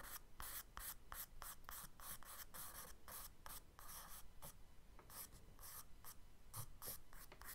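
A charcoal stick held in the fingers scratches and strokes quick sketch lines across a brown kraft paper page of a spiral-bound sketchbook lying flat on a dark wooden desk. It makes a quiet run of short, dry, bright scratchy strokes in rapid succession, each a brief papery hiss with faint low rumble underneath.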